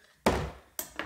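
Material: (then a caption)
Bread. A freshly baked wholemeal loaf is knocked three times, giving a dull, hollow thud each time with a short low-mid ring. The hollow sound shows the bread is baked through and done.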